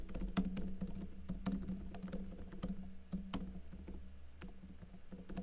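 Fingertips with short blue-painted nails type rapidly on a backlit plastic laptop keyboard with hollow keycaps. The result is a quick, uneven run of soft, hollow clicks over a steady low hum, and each tap dies away quickly.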